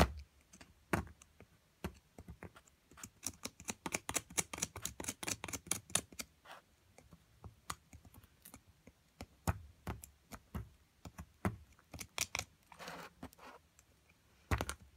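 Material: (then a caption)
Plaster. A metal chisel chips and scrapes at a solid plaster block from an amethyst crystal excavation kit, making dozens of short, dry, clicky taps. The taps come in dense bursts with some brief scraping noise, and a louder knock comes near the end. Each tap is bright with a low thud and dies away almost instantly.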